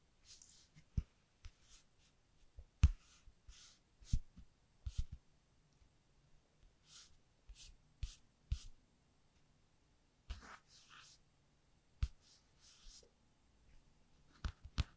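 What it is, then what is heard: Paper flashcard rubbed with a capped pen. A capped black pen is traced over the letter Ee on a small, thin, flat white cardstock alphabet flashcard held in one hand, scratching and rubbing the paper surface. Soft, bright scratchy strokes come in short bursts, separated by brief quiet gaps and light low taps. The sound stays very quiet and close throughout.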